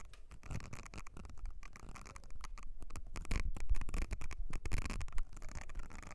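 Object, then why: Silicone cleansing mat with nubbed surface. Long nails scratch across the nubbed area of a thin, flat blue silicone makeup brush cleansing mat with ridged and nubbed surfaces. The result is a rapid, irregular patter of soft rubbery scratches with a low, dull body and very short decay, growing slightly louder in the middle of the clip.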